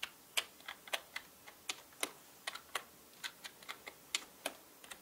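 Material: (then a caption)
Plastic. Both hands tap the plastic keycaps of a full-size black mechanical keyboard with their fingertips. About 20 sharp, bright keystroke clicks fall in an irregular rhythm, some louder and some softer. Each click dies away almost instantly, with no low-end thump.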